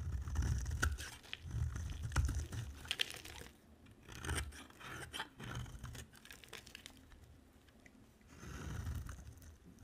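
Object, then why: Soap bar. A utility-knife blade carves and scrapes a solid bar of dry white soap with an orange layer. Irregular bursts of crunchy scraping and crumbly shaving come at close range, heavy in low thuds with brief bright clicks. Quieter pauses fall between the strokes.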